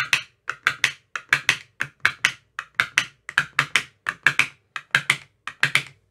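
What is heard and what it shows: A thin metal rod with a white tip taps into the cells of an empty clear plastic ice cube tray with green silicone cell bottoms. The result is a rapid, uneven series of short, dry, clicky taps centered around 1.6 kHz with bright upper edges. Each tap dies away almost instantly, with very little low end.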